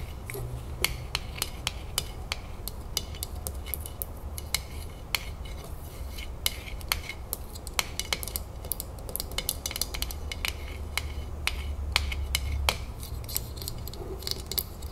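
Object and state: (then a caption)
Metal jar lid. Long fingernails rapidly tap and scratch the top of a metal screw lid on a full glass salsa jar, giving dozens of sharp, bright clicks with almost no ring, mixed with a soft scratchy hiss. A steady low hum runs underneath throughout.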